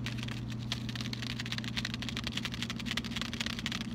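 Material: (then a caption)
Cardboard. A closed, flat rectangular cardboard Lindt white chocolate box with a bar inside is held in the hands and tapped with fingertips and short nails. This gives a quick, dry, typing-like patter of bright clicks over a steady low hum.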